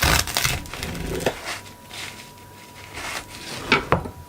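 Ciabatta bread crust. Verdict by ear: Crisp.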